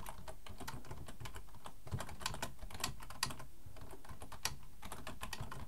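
Both hands type fast with their fingertips on a black plastic full-size computer keyboard resting on a wooden desk. The result is a steady, dense stream of quick, dry key clicks with a soft low thud beneath them. A few sharper, brighter taps stand out from the rest.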